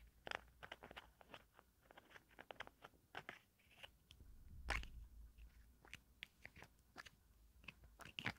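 A small pink plastic cosmetic jar with a green lid is turned in the hands while long nails scratch and tap its ridged plastic. The result is a quiet run of many sharp, crisp clicks and bright crunchy scrapes, with a louder cluster near the middle, over a faint steady low hum.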